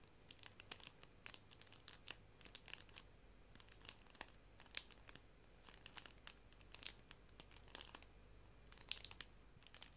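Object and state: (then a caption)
Clear plastic cello bag crinkled. A clear plastic cello bag, a sleeve holding paper art prints, is held and crinkled with fingers and nails. Quiet, bright crackles and snaps come in quick irregular clusters over a soft, steady low hum, with each crinkle dying away almost instantly.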